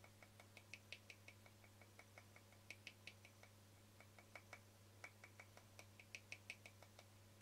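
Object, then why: Small frosted plastic lid. Fingernails quickly tap and scratch a small, round, translucent frosted plastic lid held edge-on. About thirty short, bright clicks come in an uneven patter, each with a faint scratch and a ring near 2.5 kHz that dies almost at once. A steady low hum runs underneath throughout.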